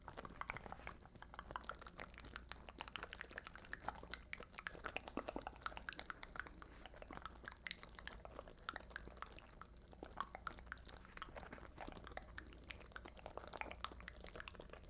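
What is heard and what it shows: A small, hollow, round black fabric handbag covered in glass rhinestones and beads is held in one hand and scratched and tapped with long nails. The result is a dense, continuous stream of quick, crisp clicks and scratchy rustles, bright and close, over a low steady hum.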